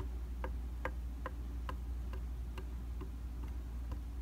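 A round glass mirror in a white plastic frame, a solid flat surface, is tapped repeatedly and evenly with a rubber- or silicone-tipped tool held in the fingers. Each tap is a soft, short tick centered near 500 Hz, over a steady low hum that carries most of the energy.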